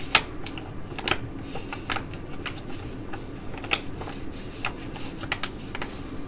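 A filled tea-tree foil sheet mask pouch from Korean skin care is held and crinkled while long nails tap and scratch across it. Sharp, bright clicks and crisp foil crackles come in an irregular series over a steady low hum, each tap dying away almost instantly.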